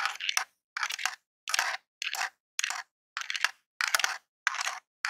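A long jeweled acrylic nail taps and scratches the d-pad and buttons of a grey hollow plastic Super Nintendo controller. Nine short bursts of crisp, rapid plastic clicking and scraping are separated by silence; the sound is bright and dry, with no low end and no ring after each tap.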